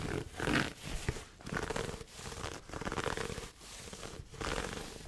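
Fingertips scratch and rub the pleated fabric lid of a hollow red pleated satin heart gift box held close to the mic. The result is a run of dry, scratchy rustling and soft fabric scraping in uneven bursts, with a low thump near the second mark and brief quiet gaps between strokes.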